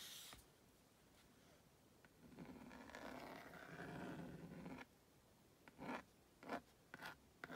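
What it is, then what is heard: Plastic magnetic drawing board being drawn on. A purple plastic magnetic stylus, held in the hand, is drawn across the honeycomb-textured screen of a plastic magnadoodle magnetic drawing board to draw a cartoon figure. A long, scratchy scraping stroke fills the middle of the clip, followed by several short, separate scratches near the end.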